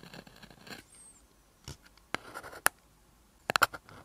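A gel or paint pen writes pink lines on a flat black paper sheet, its tip scratching along the surface in continuous strokes. Soft, papery scratching fills the first moments, followed by quieter strokes. Six short, bright ticks stand out, with the last three in a quick cluster near the end.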